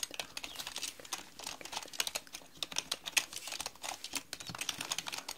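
A black mechanical keyboard with plastic keycaps, sitting on a round desk, is typed on with long painted nails and fingertips. Quick, uneven runs of sharp, bright plastic clicks and clacks follow one another with almost no low end and no ring after each keystroke.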